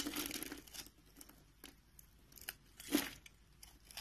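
A metal utility knife blade scores a grid into the surface of a solid, hand-sized beige soap bar held in the palm and carves it into small cubes. It opens with a soft, dry, bright scraping rasp, followed by sparse short cutting scratches and a sharper, louder crunchy cut near the three-second mark. Each scratch stops almost instantly and is quiet overall, with a faint body around 280 Hz.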